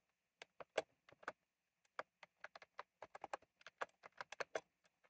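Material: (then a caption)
Plastic. Fingertips type on a retro plastic mechanical keyboard with round plastic keycaps, producing about 21 sharp, separate clicks. Each keystroke is a short, bright clack centered around 640 Hz that dies away almost instantly, in an irregular typing rhythm.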